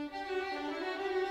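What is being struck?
Nothing is struck.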